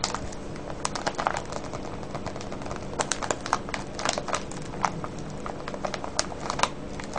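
Fingertips press and crinkle a clear plastic cellophane bag full of colorful foil-wrapped candies with a red label. Dense, steady crinkling and crackling rustles throughout, with sharper bright snaps standing out at irregular moments over a low background rumble.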